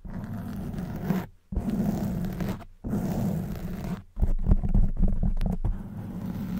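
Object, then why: Foam microphone windscreen. Long white nails scratch a black foam microphone windscreen, producing a dense, low, rumbling scrape with a heavy muffled bass. The scratching comes in continuous stretches broken by brief silent pauses, with some sharper crackles in the later part.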